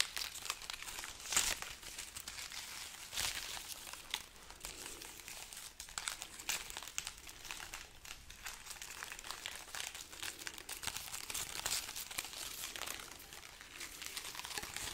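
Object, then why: Dried red chili pods on a string. Long nails scratch and rub a garland of dry, hollow red chili pods on a string. The result is a steady, bright, papery crinkling and crackling made of many tiny dry clicks, with a few louder scrapes and almost no low end.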